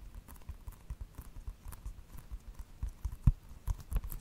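A small, hollow plastic video game case is held close to a microphone and tapped and scratched with fingertips and nails. Quick, irregular soft taps land as dull low thuds, with faint crisp scratchy clicks above them and one sharper knock near the end.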